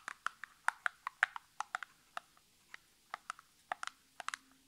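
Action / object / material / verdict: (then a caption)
tap / small cardboard box tapped with fingernails / cardboard / none. Long natural nails tap and scratch along the surfaces of a small, hollow, printed cardboard nail polish box as it is turned in the hands. About 19 short, dry clicks come at an uneven pace, each centered near 1.6 kHz with a bright top and almost no ring. Faint scratchy rustle fills the quiet gaps between them.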